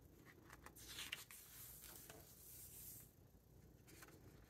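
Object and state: Hardcover book, pages turned.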